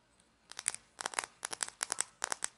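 A small hollow plastic toy condiment shaker with an orange cap and a paper label is held in both hands and scratched and tapped with long fingernails, its cap clicking. Short, dry, bright crinkly clicks come in quick clusters with near-silent gaps, and each one dies away almost at once.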